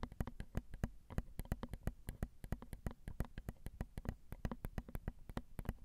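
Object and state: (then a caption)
Metal microphone capsules tapped with nails. Long acrylic nails tap rapidly on the small, hollow, crossed silver metal X/Y microphone capsules of a Zoom recorder. The steady run of quick taps lands as dry, close, low thumps with brief bright clicks on top that die away almost at once, with no talking.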